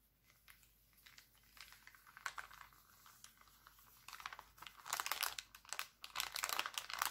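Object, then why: Thin clear plastic cellophane bag. An empty, thin clear plastic cellophane bag printed with hearts lies flat and is then picked up, while bare fingers with painted nails crinkle and crumple it. Sparse, quiet crackles in the first few seconds build into dense, bright, crisp crinkling that grows louder toward the end, with no low rumble beneath.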